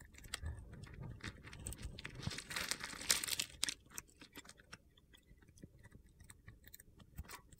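A solid red glitter-coated soap bar with a teal interior is held in hand while a metal cutter blade scrapes crunchy flakes and slivers off it. Dry, crisp crunching and gritty scraping comes in an irregular series of short bursts, busiest and brightest around the middle before thinning into softer, sparser crackles.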